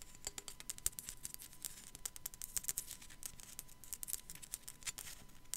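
Long black nails rapidly tap the forehead of a small, hollow, white matte ceramic sugar skull figurine with raised relief. The result is a quiet, fast, uneven patter of short, bright clicks with almost no ring, over a faint steady hum.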